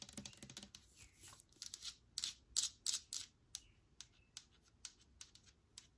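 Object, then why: Plastic spray bottle. Long nails tap the front label of a clear plastic sanitizer spray bottle held upright. A quick flurry of crisp, bright clicks gives way to a few brushing swishes, then single dry taps spaced out at a slower pace. Each tap is light and dies away almost instantly.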